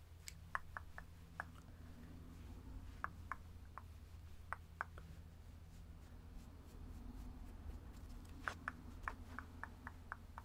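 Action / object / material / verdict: scrape / plush stuffed teddy bear / plush fabric / none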